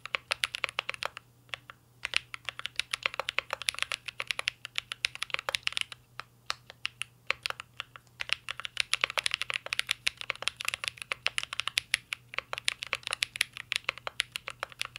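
Fingertips of both hands type steadily on a full-size CYBERBOARD R3 mechanical keyboard with an aluminum case, plastic keycaps and Holy Panda switches. A rapid, continuous stream of sharp, bright clacks and taps comes in uneven bursts with brief pauses, each keystroke dying away almost instantly. A faint steady low hum sits underneath throughout.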